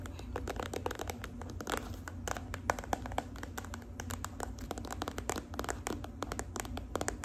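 Long acrylic nails tap and scratch the surface of a hand-sized, filled gold-and-red plastic squeeze tube of body cream. Quick, dry clicks and crinkly scraping come in a dense, uneven patter, each tap dying out almost at once over a steady low hum.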